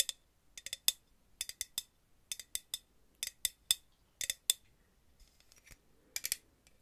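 A purple Aussie aerosol hairspray can, hollow metal with a clear plastic cap, is held upright and tapped and scratched with paper-clip nails. Nineteen quick, sharp metallic clicks and taps fall in irregular clusters, each a bright, thin ping around 3.5 kHz that dies away almost instantly. Faint scratching fills the gaps, with almost no low end.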